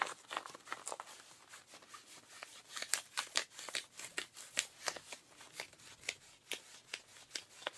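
Pink rubber-gloved fingertips scratch the thigh of ripped blue denim jeans. A quick series of short, dry, bright scratching strokes rises and falls in loudness over a soft hiss, with almost no low end.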